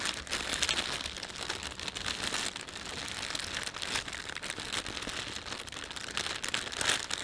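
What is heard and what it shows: Fingertips rub, pinch and crinkle the thin film of an empty panda-print plastic shopping bag. The result is a dense, continuous stream of bright, crackly crinkling with almost no low end. It swells and eases slightly throughout, with a sharper burst near the end.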